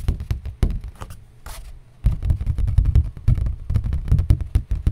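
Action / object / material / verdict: tap / thin cardboard sheet / cardboard / none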